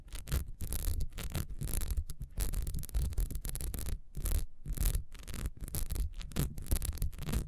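Long nails scratch fast across the ridges of a solid, beehive-shaped ribbed beeswax candle standing upright. The result is a rapid series of dry, rasping scrapes: short bursts of bright, hissy texture over a heavy low-frequency rumble, with brief gaps between strokes.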